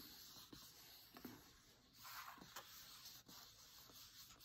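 Fingertips and nails tap and trace over a thick, dark green printed divider page in an open cookbook. The result is a soft, dry, bright scratching and rubbing hiss, broken by a few light, quick taps.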